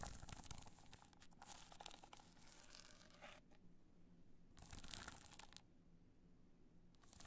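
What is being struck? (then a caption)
Hard-shell clutch covered in rhinestones. Long nails scratch the face of a hollow black hard-shell clutch covered in multicolor rhinestones, held upright in the hand. Dense, bright scratchy rasping fills the first few seconds, pauses, returns in a shorter burst, then starts again at the end. A low steady hum sits underneath throughout.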